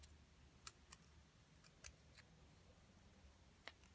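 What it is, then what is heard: Plaster excavation block being scraped. A wooden stick scratches and chips at the top of a small solid plaster excavation block with a purple crystal-shaped coating, held in the hand, as white powder falls away. A handful of sharp, bright, dry clicks and ticks stand out over quiet, low scraping and a soft low rumble. Each click dies away almost instantly.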